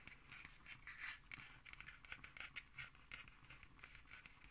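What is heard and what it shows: Long green acrylic nails scratch and tap the cover of a black cardboard hardcover notebook with a red spine and paper label, held upright on a wooden table. Soft, bright scratching mixes with a rapid series of light, crisp taps that die away almost instantly, all at a quiet level.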